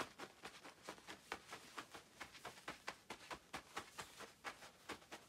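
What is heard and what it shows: Long acrylic nails scratch across the quilted, padded panels of a shiny black nylon down puffer jacket with both hands. About sixteen quiet, dry, bright rasping strokes come at a loose, uneven pace of roughly two per second. Each stroke stops short with no ring.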